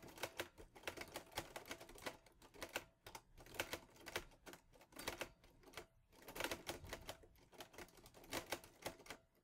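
Fingertips type on the keys of a teal metal Olivetti Lettera 22 portable typewriter. A rapid, uneven run of bright, sharp clacks follows, each dying out almost instantly. Short pauses fall around three and six seconds.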